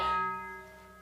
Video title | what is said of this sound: Profoto Live - Holiday Fun | Very, very nice bell sound.